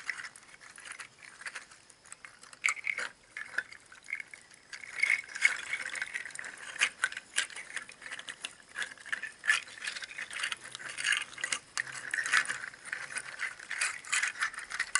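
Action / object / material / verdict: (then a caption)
shake / bundle of dried hollow seed shells on twine / seed shell / none. A bundle of hollow, empty, dried pangi seed shells strung on twine is handled and shaken by fingers with painted nails, so the shells clatter against each other. The result is a continuous, dense, dry rattling with many quick, bright clicks centered around 2 kHz and almost no low end. It swells and eases over about fifteen seconds without stopping.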